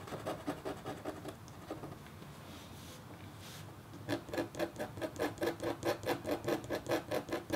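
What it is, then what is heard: Copper foil scratch art board being scratched. A red-handled, metal-tipped stylus scratches across a flat, black-coated copper foil scratch art board in quick rasping strokes. A run of strokes gives way to a quieter stretch of softer scraping, then a steady, rhythmic series of brighter, dry scratches about two per second.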